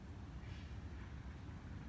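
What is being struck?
Nothing is struck.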